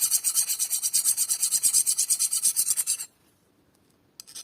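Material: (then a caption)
Anodized aluminium. A file is run back and forth over a tooth of a cold hard anodized 7075-T6 aluminium bicycle sprocket, producing a fast, bright, glassy rasping of about 23 strokes over three seconds. The file skates instead of cutting, showing a very hard coating, and a short faint scrape follows after a pause.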